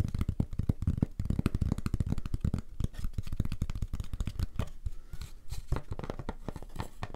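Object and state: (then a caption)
Cardboard-mounted photograph. A hand-sized antique oval portrait photograph of a woman, mounted on a thick, flat, solid grey-green cardboard card with an embossed frame, is held and tapped and scratched on its face and edge with medium-length fingernails. The result is a steady run of quick, dry, muffled taps and scrapes, mostly low and dull with almost no bright edge, each one cutting off instantly.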